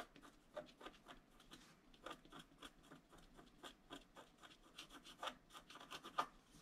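A wooden stylus scratches fine lines into the upper area of a flat scratch art card, a black-coated paper board. The result is a quiet series of short, dry scratching strokes with a bright, raspy edge, each ending almost instantly.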